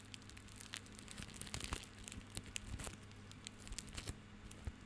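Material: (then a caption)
Plastic. Fingertips and nails scratch and rub a small tied bundle of plastic rope held in the hand. The result is a dense, dry crinkling and crackling made of many quick, bright scratches and clicks, heard over a faint, steady low hum.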